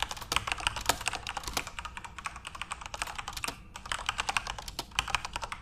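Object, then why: Mechanical keyboard with plastic keycaps. Both hands type fast with their fingertips on a full-size Corsair RGB-backlit mechanical keyboard with plastic keycaps. Dense, overlapping bright clicks and clacks rattle out in quick bursts, with short, dry tails and little low end.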